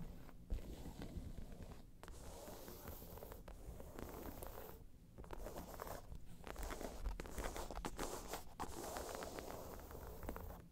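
Long nails scratch across the top and sides of a round tan crocodile-embossed faux leather bag, making a steady, rough scraping rasp with a dull, low-heavy body. The gritty strokes run almost continuously, broken by a few brief pauses.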